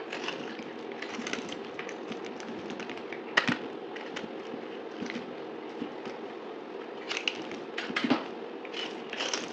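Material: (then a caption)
Soap. A solid pink dried soap bar, held in hand, is cut into chunks and scraped with a utility knife blade, played at double speed. A steady dry crackling and crunching scrape runs throughout, with brighter sharp cracks standing out now and then, especially near the middle and toward the end.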